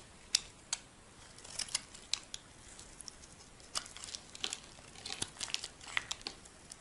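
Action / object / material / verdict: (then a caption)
scrape / bar of soap scraped with a metal blade / soap / none. A metal utility blade scrapes a solid, dry white bar of soap held in the hand, shaving it into thin sheets. The sound is a quiet series of crisp, bright crackling scrapes and sharp clicks with almost no low end. Each stroke stops dead, without ringing.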